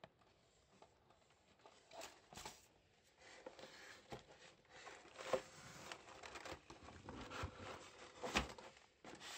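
Green rubber-gloved fingertips tap and patter on a brown, labeled cardboard shoebox, hollow and holding a pair of grey Vivobarefoot Drake shoes in EU42. Quiet, irregular dry taps and soft scratchy rubs come with short hollow thumps that die away almost at once, a few louder knocks standing out near the end.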